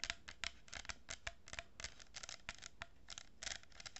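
Long nails scratch and tap a hollow cardboard tube lined with a row of plastic pearl beads, held horizontally. About eighteen quiet, dry, bright scratching bursts come in an irregular rhythm, with a papery rasp and almost no ring after each one.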